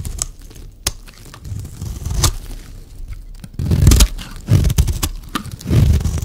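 A solid, rectangular, dry pink soap bar is held in the hand and shaved along its edge with a metal blade, peeling off curled flakes. Soft, low, dry scraping and crunching builds into louder rasping strokes in the second half, broken by sharp, bright clicks as the blade catches and snaps through the soap.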